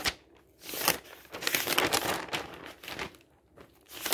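Fingertips and a flat hand lift, turn and smooth the pages of a large, thin, flexible newsprint newspaper lying open on a table, some of its pages colourful insert sections. Bursts of bright crinkling and rustling rise and fall with quiet gaps between them, with almost no low end.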